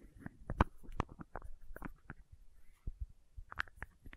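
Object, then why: Small plastic condiment bottle with plastic cap. Long nails tap and scratch the red plastic cap of a small labeled condiment bottle. A quick, irregular series of soft, dull taps sounds with brief bright clicks and faint scraping in between. Each tap is quiet and low-heavy and dies away almost instantly.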